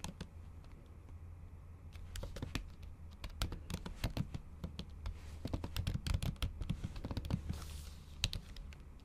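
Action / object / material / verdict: tap / laptop keyboard with thin plastic cover, tapped by acrylic nails / plastic / none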